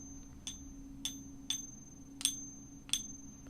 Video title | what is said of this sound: TESTING SILVER: The 2 MOST Effective Ways! | it has a distinctive ring to it but not the ring of silver